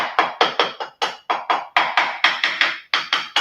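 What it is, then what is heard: Hollow-sounding lower part of an insulated precast concrete barbecue grill. Knocking on the lower part of a precast concrete barbecue grill insulated with rock wool gives fifteen quick, hollow taps with a sharp wooden tone. The surface sounds hollow because of the rock wool behind it; only the corners sound firmer.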